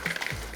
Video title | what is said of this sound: Unlock a Wickes Kitchen: Sizzling Steak & Chips | super crispy now you can hear how crispy they are